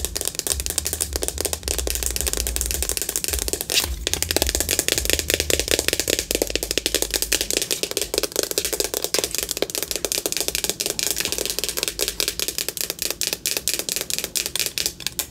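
A small, hollow, white plastic Hello Kitty-shaped compact case with a red bow is held in the hands and tapped with long acrylic nails. The result is a steady stream of rapid, bright, dry clicks with a rattling, typewriter-like texture. Each tap dies out almost instantly, over a faint low hum early on.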